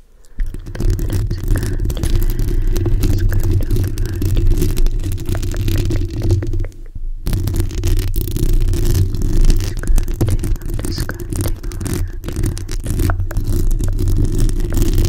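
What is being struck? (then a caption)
Metal mesh microphone grille. Long manicured nails scratch and rub directly on the hollow metal mesh grille of a hand-sized black USB condenser microphone. The result is a dense, continuous scratching rumble, heavy in the low end with a steady low hum, briefly dropping away around the seven-second mark before resuming just as thick.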